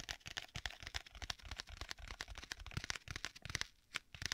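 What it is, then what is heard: Leather tablet case. Fingernails scratch and tap quickly across the surface of a flat black stitched leather folio tablet case with a strap. The result is a quiet, rapid run of short, dry, crackly strokes with a bright, papery texture, a faint low thump under some of them, and a brief pause near the end.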